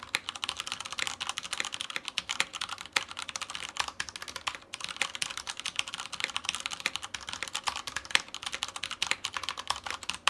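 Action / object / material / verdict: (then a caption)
tap / plastic mechanical keyboard / plastic / none. Continuous typing with the fingertips of both hands on a black tenkeyless Typhon Mars Pro mechanical keyboard with Cherry brown switches and plastic keycaps, sitting on a white desk beside a studio mic. Rapid, crisp, bright clacks with very short decay and almost no low end. The keyboard sounds solid.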